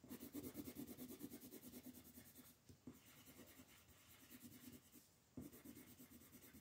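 The tip of a brown wooden colored pencil shades a large sheet of printed coloring-book paper lying flat on a wooden table, while the other hand, with long painted nails, rests on the sheet. The pencil makes steady, rhythmic scratchy rubbing strokes, about three per second, with a bright papery hiss. Brief quieter pauses come near the 2.7 and 5.2 second marks before the strokes resume.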